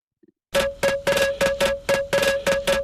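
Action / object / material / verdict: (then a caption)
strike / fallen standing stone / stone / ringing. A fallen standing stone with cut marks, once part of the rocks arranged around a dried-up spring, is struck nine times at night. Each strike gives a bright metallic ring with a steady tone around 550 Hz and a higher overtone. This shows the stone is a ringing rock.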